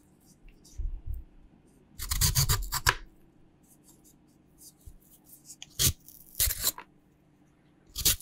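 A raw, solid purple sweet potato is held in the air and peeled with a green peeler in scraping strokes, with the peels landing on a white cutting board. Short, rough, rasping scrapes come in irregular bursts, bright and gritty on top with a dull low body, separated by quiet pauses.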